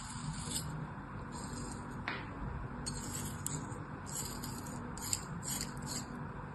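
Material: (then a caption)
Sand. Packed kinetic sand in a green plastic mold is sliced across its face with a craft knife. The result is soft, steady scraping and rubbing with bright, crisp crackles over a low rumble, and a few sharper ticks stand out.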